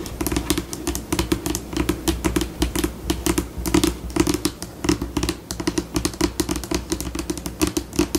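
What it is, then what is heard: Laminate tabletop tapped with fingernails. Long pink acrylic nails tap rapidly with both hands on the flat, glossy, solid tabletop of a white laminate table. It makes a fast, uneven stream of short, dry clicks with a bright edge and a hollow mid-tone knock. Each tap dies away almost at once over a faint low background hum.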